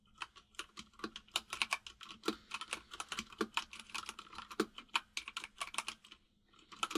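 Both hands type rapidly with their fingertips on a white full-size mechanical keyboard with plastic keycaps resting on a desk. The keys produce a steady stream of sharp, bright, clacky taps that die away almost instantly, with very little low end. The typing pauses briefly near the end before a few final keystrokes.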